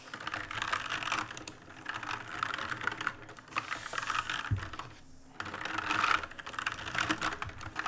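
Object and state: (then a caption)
Plastic mechanical keyboard. Fast fingertip typing and key mashing on an RGB-lit black plastic mechanical keyboard with plastic keycaps produces dense bursts of short, clicky key strikes with a bright clatter. Brief pauses break up the rapid runs, including a near-silent gap around the five-second mark.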